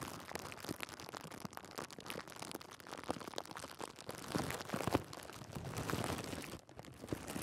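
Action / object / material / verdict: scrape / thin clear plastic bag / plastic / none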